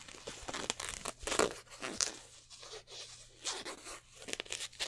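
Fingertips and nails scratch and rub over a black polyester basketball jersey with stitched twill numbers, held up close. Dry, bright scratching and crinkly rasps come in quick, uneven bursts, with sharper scrapes as the nails catch on the raised number patches.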